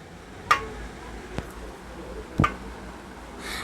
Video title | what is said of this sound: పల్లి పట్టి - పప్పు చెక్క - How to Make palli Chikki In Telugu - Home made Palli Patti #viral | అక్కడ వింటే సౌండ్ వస్తుంది కదా టక్ టక్ టక్ టక్ అని అది అట్లా సౌండ్ వస్తే మనకి పాకం రెడీ అయినట్టు